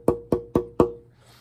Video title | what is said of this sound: Talking about acoustic guitar tone | it will actually make a tone